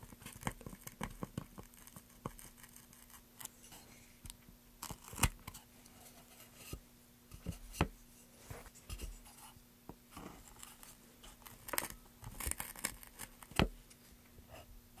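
A carving chisel gouges a pale, solid wooden plank in short, scraping strokes, and fingertips briefly rub the carved surface. Crisp, bright cuts and scratches recur irregularly over a low, steady hum, with sharper peaks where the blade bites harder.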